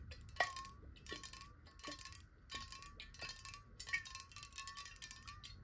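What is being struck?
Glass water bottle.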